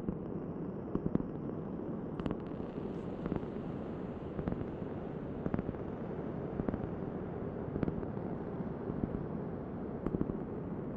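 A large, thin, solid round cork board held in both hands is tapped and scratched with long nails. A steady, dense, low scratching rustle runs throughout, with short, dry, crisp taps scattered over it that die away almost instantly.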